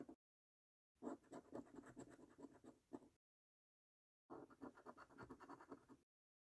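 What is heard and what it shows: A coin scratches the latex coating off the prize circles of a paper lottery scratch card. Close, raspy scraping comes in two main bursts of quick back-and-forth strokes, separated by silence, with only a brief scrape at the very start.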